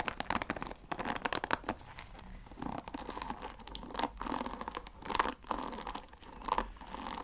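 Fingernails scratch and flick the wooden pins of a wooden paddle hair brush close to the microphone. The result is a dense run of short, dry clicks and crackling scrapes with quick bursts and no ring.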